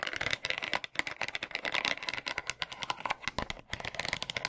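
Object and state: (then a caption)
Bamboo massage brush. Tiny plastic hands scratch and tap across the rounded wooden pins and solid curved back of a wooden bamboo massage brush. A dense run of quick, dry, bright clicks and scratchy rustles goes on almost without pause, with brief lulls before 1 second and near 3.6 seconds. Each tick dies away instantly, with almost no low end.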